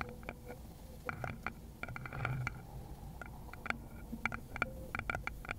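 Long pointed nails in glittery lace gloves tap and scratch the base of a small, hollow, round wooden bowl with visible grain, held base-out next to a fluffy microphone cover. Irregular bursts of quick, clicky taps with a bright, short-lived tone near 1.4 kHz are broken by a soft, brushy scratch near the middle, over a low, steady hum.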